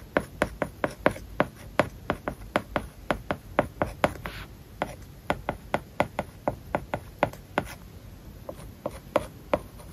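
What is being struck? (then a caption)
Plastic stylus on a tablet screen with a matte plastic film. A plastic stylus writes words on an iPad lying flat, with a matte plastic paper-like film over its glass screen. It makes a quick, steady series of sharp, dry taps and short scratches against a quiet background, each click dying away almost instantly.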